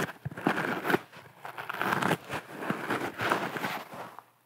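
A dry, yellow, palm-sized natural sea sponge, round and porous, is held in the hands close to a fluffy microphone and scratched and squeezed with fingertips and long nails. The result is soft crackling and crinkling, with close, dry scratchy rustles that swell and fade in uneven bursts.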